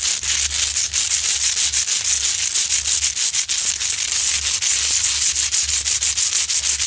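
Long acrylic nails scratch up and down the front of a large, solid rock-salt Himalayan salt lamp with a rough crystalline surface. The result is a steady, bright, hissy rasping made of quick, overlapping strokes, about three per second, with almost no low end.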